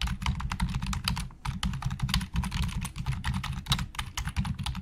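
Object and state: Plastic computer keyboard being typed on.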